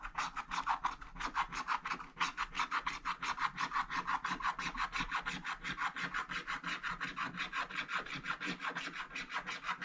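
A wooden stick scratches a black wax-coated scratch-art page in a book with rapid vertical strokes, removing the black coating over a growing area. About fifty quick, dry rasping strokes follow one another in a steady rhythm, each a bright, papery scrape centered in the midrange with little low end.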